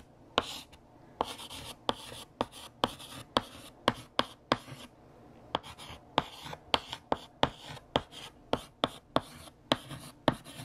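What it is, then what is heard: Chalk writing on a blackboard. Purple chalk held in the hand scratches and taps out words and underlines on a large, solid, flat black chalkboard. About 21 sharp, dry taps ring out over soft, bright scratching, with short gaps between the strokes.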